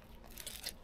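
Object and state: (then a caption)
Crispy grilled pork intestine. Crispy grilled pork intestine is cut, giving a quiet, bright crunching crackle with a few sharper crisp snaps over a low background rumble. The crunch comes through clearly, confirming the intestine is really crispy.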